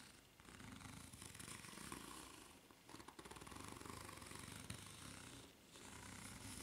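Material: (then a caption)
Rubber. Long nails scratch across the serrated ridges of a white ridged rubber flip-flop sole held bottom-up. The result is a continuous, rapid raspy scraping with a low buzzing rumble and bright hiss, easing briefly in three short dips.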